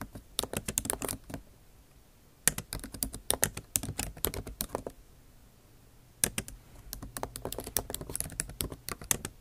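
Long acrylic nail tips type on the bare plastic keys of a MacBook Pro's backlit keyboard, set in an aluminum body. Quick bursts of sharp, bright clicking taps come in three runs, separated by short quiet pauses. Each tap dies away almost at once.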